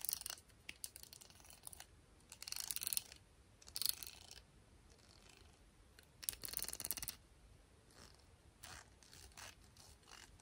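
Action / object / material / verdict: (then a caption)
flick / plastic round hairbrush with nylon bristles / plastic, nylon / none. Long painted nails flick and strum the teal-tipped nylon bristles of a black plastic round hairbrush with a hollow barrel, held in the other hand, and the brush is turned at the end. The result is quiet, bright, crackly scratching in bursts of varying length, with almost no low end and very short decays.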